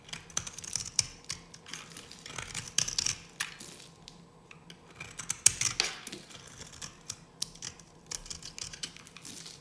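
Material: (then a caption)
Soap. A solid, dry yellow bar of soap held in the hand is carved with a metal blade, producing crisp, bright scraping and cutting sounds. Irregular bursts of sharp, high scratches are separated by brief pauses, with almost no low end and no lingering ring.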